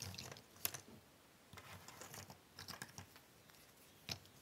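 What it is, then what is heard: Cardboard jigsaw puzzle pieces being shuffled. Fingertips and long nails rub and shuffle a large pile of small, thin cardboard jigsaw puzzle pieces on a wooden table. The result is a soft, dry, crackly rustling broken by bright, short clicks and taps, with a few sharper ticks standing out near the start and the end.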